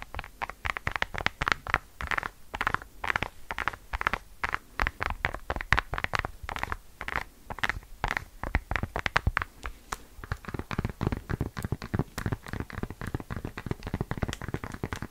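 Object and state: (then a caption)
Silicone bubble phone case. Long dark nails rapidly scratch and tap the white silicone bubble-textured back case of a pink phone held close to the microphone. The result is a dense stream of short, dry clicks and scratchy rustles with soft low thumps and no ringing.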